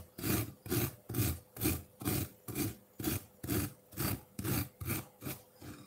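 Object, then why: Ice block in a ceramic bowl, scraped with metal fork tines. A solid block of colored ice in a ceramic bowl is scraped and dug at with the tines of a metal fork. Thirteen rough, grinding scrapes repeat in a steady rhythm, each with a low, rumbling body and a gritty, bright rasp on top.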